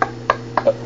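A Tour Spoiler WAVE composite hockey stick shaft is knocked four times after being treated with a 500°F heat gun and hammer knocking. Each knock is a short, dry, wood-block-like tick centered near 1.1 kHz. The shaft sounds firmer than before the treatment, though a slight not-so-solid tone remains.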